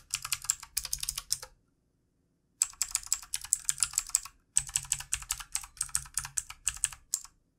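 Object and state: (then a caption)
Plastic computer keyboard. Fingertips of both hands type on the keys of a backlit plastic computer keyboard, producing rapid, bright, clicky taps with a faint low thud beneath. The typing comes in three bursts, with a silent pause after the first and a brief gap before the last.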